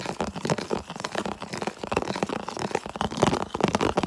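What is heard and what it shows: Fingertips and nails rapidly tap and scratch across the surface of a medium, hollow, empty, translucent red plastic food container held up close. The result is a dense, fast stream of crisp, crinkly clicks and scrapes with a hollow midrange body, each tap dying away almost instantly.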